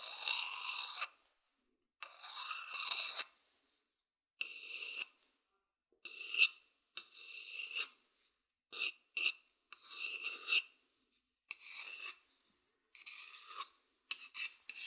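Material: Wood.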